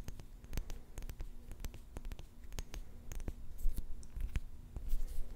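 Fingertips and long nails rub and tap a small round clear glass jar with a silver metal lid, filled with pink plastic beads. Quiet scratching runs under a rapid, irregular series of short, sharp clicks and taps that stop almost instantly, with a faint steady low hum beneath.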